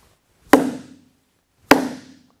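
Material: Wood.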